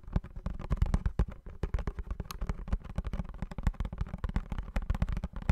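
A small blue printed cardboard perfume box is held in both hands while fingernails tap and scratch quickly across its surface. The result is a dense stream of short, dry taps with a dull, low-heavy body, mixed with faint scratching between them.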